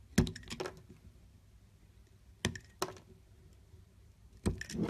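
A utility knife blade shaves thin slices off the edge of a solid green bar of soap held in the hand. Three pairs of short, crisp scraping cuts sound out, each with a sharp attack and a bright, brief rasp. Low, quiet background sits between the cuts.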